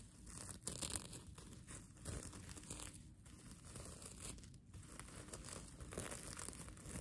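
Long nails scratch and flip the plastic sequins of a mermaid tail blanket while the sequin fabric is crumpled in the hands. A steady, dense crinkling and rustling scratch runs throughout, with bright clicking textures and a soft low rumble that swells and dips slightly in waves.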